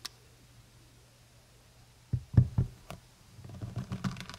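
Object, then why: Large plastic honey bottle. Long nails tap on the brown cap and sides of a large, full plastic honey bottle held in both hands. After a quiet stretch with a faint low hum and a small tick at the start, a few dull, low thumps land close together, followed by lighter scattered clicks and soft rustling. The taps are short and muffled with almost no ring.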